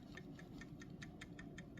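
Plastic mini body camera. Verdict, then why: Loose. A plastic KSADBOSSBO/KONPCOIU CS06 mini body camera is shaken forward to check for loose internal parts, producing a faint, steady ticking rattle over a low background hum. The rattle only occurs when shaken in this direction and is minimal.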